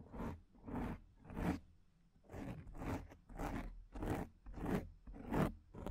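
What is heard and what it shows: Long painted nails scratch and rub a black, soft, porous foam microphone windscreen in ten separate crunchy, rasping strokes at a loose, uneven pace. Each stroke is a broadband scrape that is heavy in the low end with a bright, airy edge, and it fades quickly between strokes.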